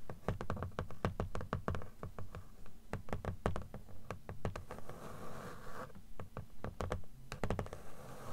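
Long acrylic nails tap and scratch the cream paper page edges of a closed blue book, lying flat and held upright, its solid stack of paper giving a dull, low thud to each tap. Quick, irregular taps come in bursts, broken by stretches of dry, rasping scratching across the page block.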